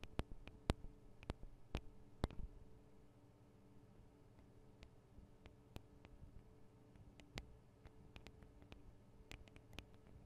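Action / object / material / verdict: tap / small metal microphone capsules / metal / none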